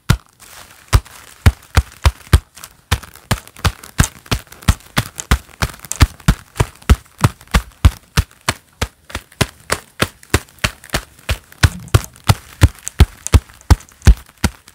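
A pair of black leather gloves worn on both hands clap together, palm to palm, in a steady series of sharp, dry claps. Each clap gives a quick, deep slap that dies away almost instantly, with faint crinkling of the leather between claps.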